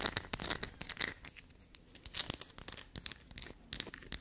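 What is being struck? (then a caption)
Bar of black soap. Long black-polished natural nails scratch and dig into a small solid chunk of dark black soap held up in both hands over a table dusted with soap shavings, crumbling bits off. The sound is a fast, dry, bright crackling of crisp scratches and crunches, with quick sharp flicks that stop almost instantly between quieter scraping.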